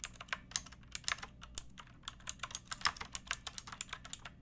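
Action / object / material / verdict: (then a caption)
tap / plastic mechanical keyboard / plastic / none. Fingertips with long nails type continuously on a pink backlit plastic mechanical keyboard with round plastic keycaps. Quick, quiet, bright clicks follow one another in an uneven run, each dying away almost at once, with a high tick on top and very little low end.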